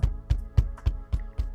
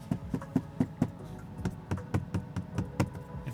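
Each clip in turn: First: solid car interior side panel. Second: hollow-sounding car interior side panel.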